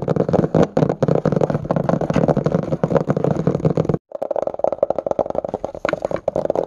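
Fingertips and short nails tap and scratch quickly across the red cloth or cardboard cover of a closed hardcover book lying flat. A dense run of dry, muffled taps and scratchy scurrying fills the clip, breaking off for a moment at about four seconds before resuming.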